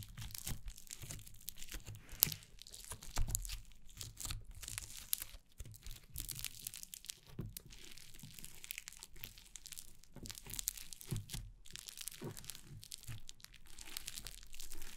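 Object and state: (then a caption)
Foam slime being squeezed. A flat lump of yellow, fluffy, grainy foam slime on a wooden table is pressed, squeezed, pulled apart, kneaded and scrunched by fingertips with long painted nails. The result is a dense, continuous stream of soft crackling, crinkling and tearing sounds, with bright fizzing textures over a low thudding base. The slime is soft and solid, not hollow.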